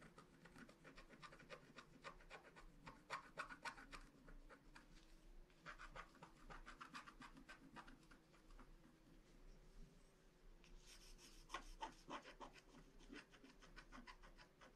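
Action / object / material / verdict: scrape / wax-coated paper scratch card and wooden stylus / coated paper / none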